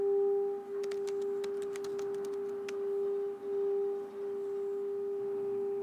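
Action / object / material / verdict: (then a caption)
scrape / brass singing bowl / brass / none. A small, hollow, empty brass singing bowl resting on an open palm is rubbed around the rim with a wooden mallet, which then lifts away. A steady, sustained humming tone with a fainter higher overtone rings throughout, swelling and dipping slightly, while faint bright ticks of the mallet on the rim are scattered through the first half.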